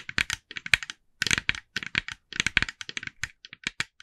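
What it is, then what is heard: Plastic jack-o'-lantern tapped with fingernails. Long nails of both hands tap rapidly on the face of a hand-sized, hollow, glossy orange plastic jack-o'-lantern decoration. The taps come in quick bursts of sharp, bright, clicky ticks with almost no ring, separated by brief pauses, and sound light and hollow with little low end.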